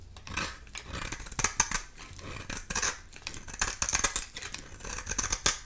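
A dry oval bar soap with a red core and black shell, held in the hand, is shaved with a metal utility knife blade into orange-red curls. Bright, crisp scraping strokes repeat throughout, with sharp high clicks and brief sizzling shavings over a faint low hum.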